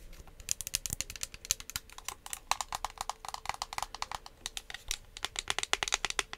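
Long acrylic nails tap and scratch along the body and trigger head of a hand-sized, hollow pink plastic spray bottle with a My Melody print, which may be partly filled with liquid. Dozens of quick, bright, clicky taps come in uneven bursts, each dying away almost instantly, with light scratching between them. A faint low hum sits underneath.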